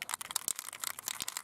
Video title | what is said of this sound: Episode 8: MOT Work on the Car | shake it till you can't hear the clicking anymore